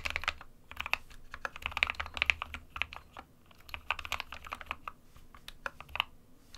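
Fingertips of both hands type on an SK61 compact 60% plastic mechanical keyboard with white and grey keycaps. Bright, sharp keystroke clacks come in quick, uneven bursts with brief pauses, each one dying away almost instantly. A faint low hum sits underneath.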